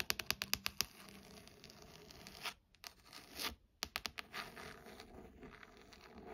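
Fingernails scratch the cover of a burgundy leather-bound hardcover book, then the edges of its pages. A quick run of about seven sharp, bright scratches opens the clip, followed by softer, hissy scraping, a short pause, and another cluster of crisp strokes.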